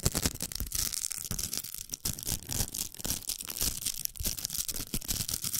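Long nails scratch the hooks of a large, hollow pink plastic velcro hair roller. The result is a continuous, rapid, rough scratching with a bright, hissy rasp and soft low thuds underneath.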